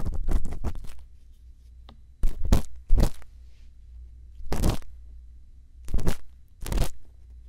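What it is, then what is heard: Silicone ear microphone scraped with an earpick. A thin bamboo earpick scratches inside the ear canal of a white silicone ear microphone. It makes close, crackly bursts of scraping and crunching, separated by quiet gaps over a steady low hum.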